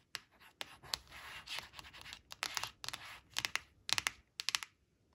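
Long blue nails scratch and trace along the red crayon shape on a thin, flat glossy cardstock flash card resting on a woven fabric. The result is a quiet series of dry, bright scratching strokes, some sustained and rasping and others short and sharp, coming at an irregular pace with almost no low end.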